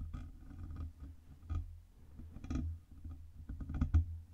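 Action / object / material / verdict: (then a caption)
tap / metal microphone body and stand / metal / none. Long red nails tap the sides of a black Blue Yeti USB microphone's hollow metal body and the knobs of its metal stand. The result is a series of quick, muted clicks and taps over a steady low rumble, with a few louder, brighter knocks that die away almost instantly.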